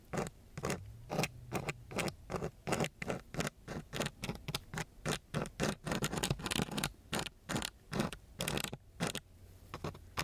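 A gloved hand scratches a thin wooden stick across a coarse, gritty brown sandpaper sheet in quick repeated strokes. Each stroke is a short, dry, raspy scrape with bright grainy texture over a low rumble, separated by brief quiet gaps.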